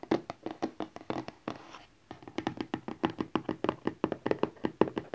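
A small, rigid cardboard Honor 8X phone box lies flat and front up on satin while fingertips and nails of both hands tap it in quick, irregular bursts. The taps are dry, hollow and mid-pitched, with very little ring. There are about thirty taps, broken by a brief soft rustle and a short pause near the two-second mark.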